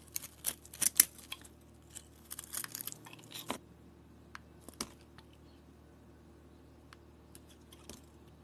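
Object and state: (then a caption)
Soap bar being shaved. An oval, solid pink soap bar with glitter remnants is held in the hand and shaved into flakes with a metal blade. The result is quiet, bright, crisp scraping and short crackling ticks, bunched in the first few seconds and then thinning out to occasional soft clicks over a faint steady low hum.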